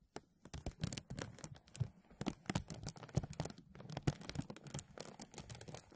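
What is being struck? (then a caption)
Thin plastic bag. Hands rub and press a thin, translucent plastic bag stretched over a mesh microphone, crinkling the film. Quick, irregular bursts of crackle and rustle follow one another throughout, with a heavy low thump from the pressing under bright, sharp crinkle snaps. Each burst dies away almost at once.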